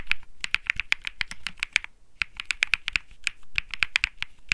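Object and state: Mechanical keyboard with plastic keycaps.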